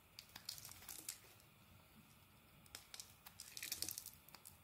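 A utility knife blade scrapes and shaves the surface of a solid rectangular black soap bar held in the hand. Quiet, bright, crisp crinkling scrapes come in quick bursts, with a softer stretch in the middle before a denser run of shaving strokes at the end.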